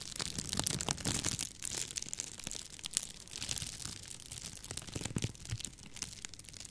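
A light, hollow tube of rolled clear plastic bubble wrap is held in front of a microphone while fingertips with long painted nails twist, squeeze and crinkle it. The result is a continuous bright, crackling crinkle, dotted with sharp little snaps and a soft low rustle underneath.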